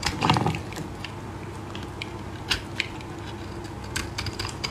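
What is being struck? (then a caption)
Soap bar scraped with a metal blade. A metal blade scrapes a solid green oval bar of soap held in a gloved hand, shaving it into powdery shavings. A louder, dense scratching burst at the start gives way to steady, crackly, low-level scraping, punctuated by occasional sharp, bright clicks.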